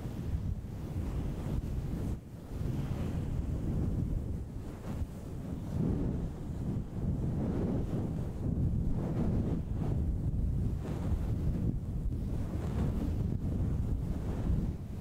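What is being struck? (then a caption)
Synthetic fur microphone windscreen. Fingertips of both hands scratch and rub a grey-and-white fluffy synthetic fur windscreen fitted over a silver condenser microphone. The result is a continuous, muffled, low, wind-like rustle and rumble, with a brief drop in level around two seconds in.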